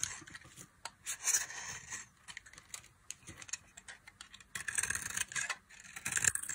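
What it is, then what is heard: Dry soap bar being carved. A hand-sized, solid rectangular bar of dry orange soap is held in one hand and carved with a small knife blade, with the shavings curling off and piling on the table. The sound is a run of short, dry, bright scraping and cutting strokes that come in irregular bursts and are dominated by high hiss. There is almost no low end.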